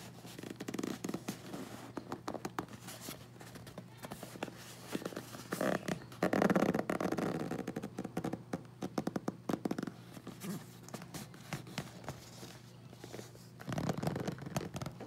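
Fingertips and nails tap and scratch across the tape, hazard label and shipping label of a closed, hollow corrugated cardboard shipping box held in both hands. Quick, irregular dry taps and rough scratches, with a few louder bursts of hollow scratching, sit over a steady low hum.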